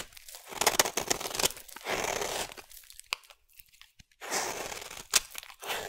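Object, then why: Bar of soap scraped by a metal blade. A metal blade scrapes and carves the surface of a partly carved peach bar soap. Bright, crunchy scraping strokes with sharp crisp snaps come in bursts separated by short quiet pauses.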